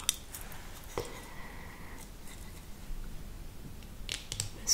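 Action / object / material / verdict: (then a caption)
tap / small plastic tub of eyelash brushes / plastic / none. A small, hollow, clear plastic cylindrical tub full of red-tipped disposable eyelash brushes (spoolies) is held in both hands and tapped and scratched with long acrylic nails. Sharp, bright clicks and light scratching come through over a quiet background, with a faint tone lingering briefly after one tap. The result is a soft, crisp, high-pitched tapping texture.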